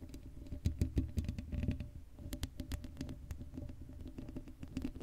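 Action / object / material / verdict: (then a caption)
scrape / woven metal mesh microphone grille scratched by fingernails / metal mesh / none. Long blue acrylic nails on both hands scratch across the hollow black woven metal mesh grille of a Blue Yeti microphone head with no foam cover. The result is a dense run of quick, dull, low-heavy scratches and taps with a boomy rumble and sharp, short clicks that die away almost instantly.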